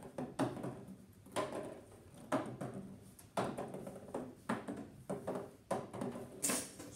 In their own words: so you can tell this larger box made a lot less noise